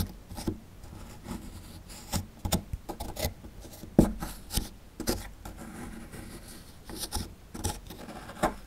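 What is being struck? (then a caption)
Plaster excavation block. A chisel scrapes and pries at a small, solid plaster fossil dig block, producing dry, gritty scrapes broken by sharp, short taps and cracks. The bursts are brief with little ring, and the sound sits mostly in the low and low-mid range over a quiet background.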